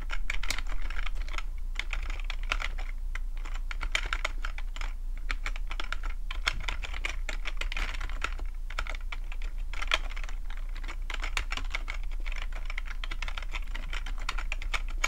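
Fingertips type steadily for about 15 seconds on a full-size black plastic computer keyboard with a hollow plastic body. The rapid taps sound as short, dry clicks, bright and centered near 2.4 kHz, and each one dies away almost at once. A constant low hum runs underneath the whole time.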